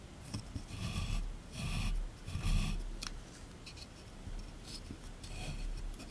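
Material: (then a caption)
Plaster. A small chisel tool scratches and scrapes a solid plaster block resting in a tray, with repeated gritty scraping strokes. The rasping passes carry bright, hissy texture above a low rumble. They come in uneven bursts, with quieter scratches between them.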